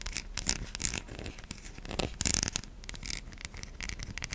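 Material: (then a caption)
Soap. Long nails scratch across the face and stamped logo of a white solid bar of soap, making dry, bright scraping and rubbing strokes. The strokes come as quick, uneven bursts with a hissy high edge and no ring. A louder flurry of scratching comes just past the middle.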